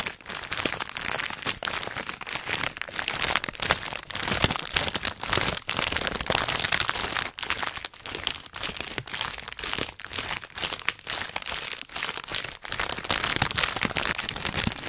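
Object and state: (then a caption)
Crinkled plastic snack bag. A hand-sized orange and red plastic/foil snack bag of Hot Nuts, full of nuts, is squeezed and crinkled with the fingers close in front of a microphone. It makes a dense, continuous, bright crinkling and crackling with quick sharp snaps and very little low end, running steadily throughout the clip.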